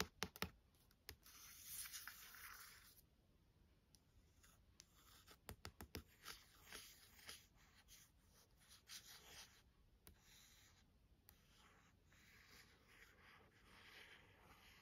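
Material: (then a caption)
Coated cardboard. Long nails tap and scratch the back cover of a glossy hardcover novel and its price sticker. Sharp, dry clicks come in irregular bursts between soft, hissy scratching strokes. The whole clip is quiet, close and bright-toned.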